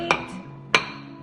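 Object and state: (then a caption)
Cooked food loaf come loose from its dish. A hot microwaved food loaf, flipped onto a plate in its dish, is shaken until it comes loose. Two sharp, bright knocks ring out about 0.6 seconds apart, showing the loaf has dropped free of the dish.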